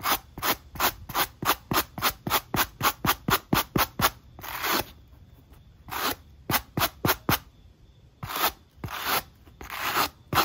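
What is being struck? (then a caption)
Rubber shoe sole. A wooden-handled wire-bristle brush scrubs the black textured rubber outsole of a sneaker held in hand, producing bright, dry scratching strokes. The strokes come in a fast, even run, then turn slower and longer with short quiet gaps between bursts.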